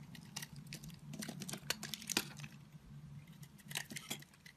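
A square blade shaves flakes off the edge of an oval, solid blue marbled soap bar. Quiet, crisp scraping and crackling clicks come in quick uneven bursts, bright and dry, over a faint low steady hum.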